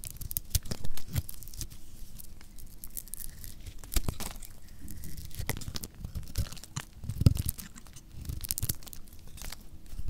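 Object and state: Dry soap bar scraped and cut.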